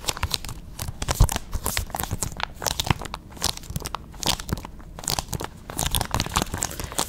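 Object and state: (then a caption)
Plastic game case. A small hollow plastic PS5 game case for Persona 5, possibly still in shrink wrap, is held in both hands close to the microphone and gripped, rubbed and scratched with long red nails. Fast, dense bursts of bright crinkling, crackling and scraping run throughout, over soft low thumps from the grip on the hollow case.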